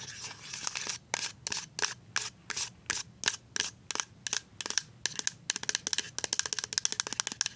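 A full white plastic pump bottle of liquid hand soap is tapped along its label with paper-clip nails. The taps are bright, dry clicks and scratchy scrapes with almost no low end, each dying away almost instantly. They start as slower, separate strokes and then quicken into a rapid, tightly spaced clicking pattern.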